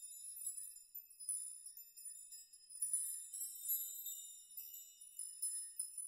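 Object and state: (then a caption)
Steel nail chime. Fingers touch and sway the many long hanging steel nails of a steel nail chime, rocking them so they clink together. Quiet, bright, high metallic clinks and shimmering ringing tones overlap irregularly throughout, with no low end.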